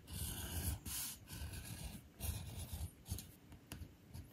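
A metal edge beveler or groover is pushed along the edge of a thin, solid navy leather panel resting on a stone surface, with a fingertip steadying the leather. The result is a series of short, repeated scraping strokes that shave off small bits of leather. Each stroke has a low, rough body under a bright hiss.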